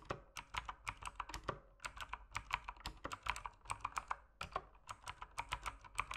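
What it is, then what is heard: Plastic mechanical keyboard. Fingertips type on a backlit mechanical keyboard with plastic keycaps, producing a rapid run of sharp clicky keystrokes. Each press is a short, bright tap centered around 1 kHz, with brief pauses between bursts of typing.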